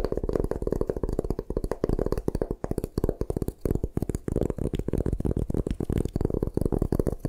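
Long nails scratch and tap rapidly on a solid white gym chalk block held in the hands. The result is a dense run of short, dry clicks and scrapes with a muffled, low-to-mid body that stops almost instantly after each touch, broken by a few brief pauses.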